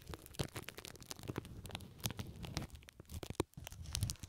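Fingertips with long nails squeeze, scratch and crinkle pink plastic cling film stretched over the left ear of a microphone. Dense, irregular crackles and crinkles come in quick bursts, with a heavy low rumble from the squeezing beneath bright, sharp snaps. The sound stays close and continuous, with brief quieter gaps between flurries.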